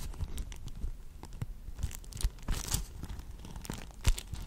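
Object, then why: Wax-coated cloth food wrap. A purple beeswax food wrap, a wax-coated cloth sheet held in both hands, is rubbed, crinkled and folded by the fingers. It makes a dense, irregular stream of stiff crinkling and crackling with sharp, bright snaps over a soft low rustle.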